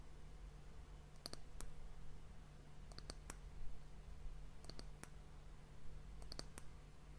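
Long fingernails tap the flat surface of a solid, varnished brown wooden disc cap on a glass hourglass. Quick, sharp, dry clicks come in four small clusters over a steady low hum, each tap dying away almost instantly.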